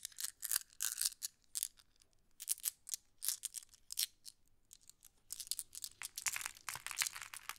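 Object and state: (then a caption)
Glass decorative pebbles. Fingertips and long nails sift through a pile of small, solid, flat glass decorative pebbles while green pebbles are held in the other hand. Bright, dry clicking and clattering come in irregular bursts with brief quiet gaps, sharply high-pitched with almost no low end and no ring after each click.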